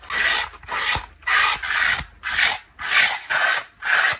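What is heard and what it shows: Long black nails scratch and rub the black scour layer and yellow foam edge of a small dry layered kitchen sponge with a yellow foam core, black scouring pad and blue cloth face. Seven separate bursts of bright, crisp rasping come in a steady rhythm, each fading quickly before the next stroke.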